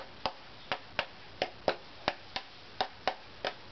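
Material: Spruce.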